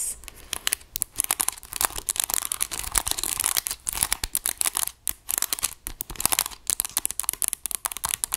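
Long acrylic nails rapidly tap and scratch across the keys and casing of a dark grey plastic graphing calculator, a hollow electronic device held upright. The result is a dense stream of bright, crisp clicks and dry scratching, mostly high-pitched with almost no ring after each hit.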